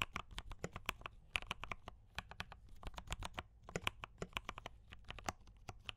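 A compact mechanical keyboard with brown switches and cream and red plastic keycaps is typed on continuously with both hands' fingertips. The result is a steady stream of sharp, bright clicks with very short decay over a low background hum, with about 36 distinct keystrokes heard.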